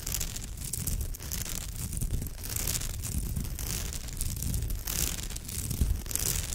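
Long almond-shaped nails scratch along the rows of fibre on a woven straw or raffia purse. The result is a steady, dense scratching and rustling with a low rumbling body and bright, crackly hiss on top. The texture swells and eases without clear breaks between strokes.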